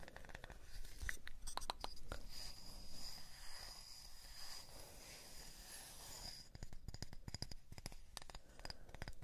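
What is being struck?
Small round wooden disc.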